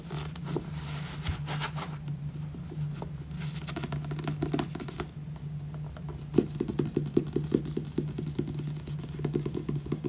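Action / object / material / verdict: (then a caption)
tap / paperback book with glossy card cover / paper / none. Fingernails tap on the cover and then the spine of a solid, purple, glossy paperback book. Soft, quick tapping sits over a steady low hum, and the taps grow sharper and more distinct in the second half. Each tap stops short with no ring.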